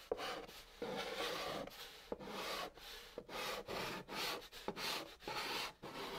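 A white chalk stick, held in the fingertips, scratches and writes letters across the top of a large, flat, hollow brown cardboard box. The chalk makes dry, gritty scraping strokes with a bright hiss and a hollow midrange tone. Short pauses and sharp taps fall between the strokes.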